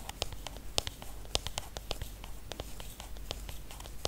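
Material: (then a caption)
Aluminium. Fingernails tap and scratch the aluminium back and edges of a silver iPhone, tilted and held close. The result is a quick, irregular patter of short, dry, bright clicks over soft scratchy rustling, each tap dying away almost instantly.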